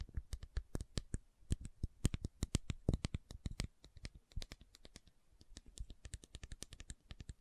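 A white plastic fish oil supplement bottle with a screw cap and paper label, capsules inside, is held in both hands and tapped and scratched with long nails. A rapid series of short, dry clicks and taps comes through, with soft scratching in between, continuing unevenly throughout.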